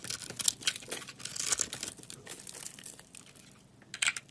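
A box-cutter blade shaves white flakes off a solid white bar of soap with a purple-crusted rim, held in the hand. Crisp, bright crinkling and scraping comes in quick, dense bursts that fade through the middle and flare up again near the end, with almost no low end.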